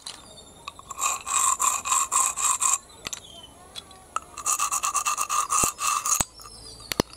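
Fingers scrape and rub through a heap of small, hollow, empty snail shells on concrete. Two runs of quick, rhythmic rasping strokes give a bright, gritty rattle with a ringing, whistle-like tone, separated by a quieter pause. Scattered sharp clicks sound in between and at the end.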